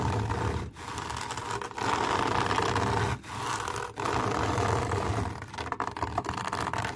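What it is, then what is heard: Fabric mesh cover being scratched. Long nails scratch a fine camouflage fabric mesh cover wrapped around an object, probably a speaker cover. The result is a dense, continuous rasping scrape with a steady mid-range hum, broken by a few brief pauses. It turns into quicker, choppier strokes near the end.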